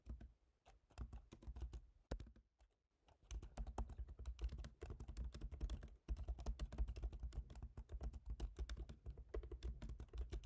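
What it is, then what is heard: Laptop keyboard typing. Fingertips of both hands type rapidly on a MacBook Pro keyboard, black plastic keycaps set in a silver aluminum body. Dense runs of short, dry clicks and taps come with a soft low thump, pausing briefly near the start before continuous typing resumes.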